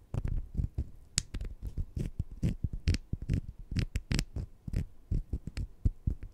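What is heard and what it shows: Two small, solid, sugar-coated jelly fruit-slice candies are held in the fingertips while one scratches against the other. The result is a dense run of soft, dull, low scratching and patting sounds, with occasional brief bright ticks.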